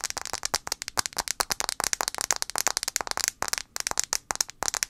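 Long acrylic nails tap fast on the glass screen of a handheld blue iPhone 5c, a small solid phone with a plastic body held screen-forward. About 26 sharp, bright clicks come in a quick, uneven run, each one dry and gone at once, with almost no low end.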